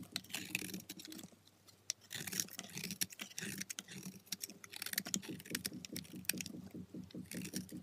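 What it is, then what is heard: Soap bar being scraped. A solid white soap bar held in the fingers is scraped and shaved by a dark steel blade, taking powdery flakes off its edge and surface. Dense runs of short, bright, crisp scratching strokes come in close bursts, with a brief quieter pause early on.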